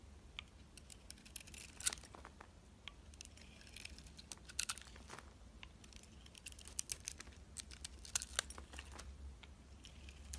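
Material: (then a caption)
Soap. A utility knife shaves the green striped coating off a solid oval bar of soap held in the hand, revealing the white soap beneath. Quiet, crisp scraping and cutting sounds come as a rapid run of bright, dry ticks and short rasps, with no ring, over a steady low hum.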